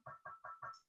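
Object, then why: Ceramic piggy bank. A ceramic piggy bank is tapped four times in quick succession. Each tap gives a short, tinny ring with a clear pitch around 1.3 kHz that fades fast.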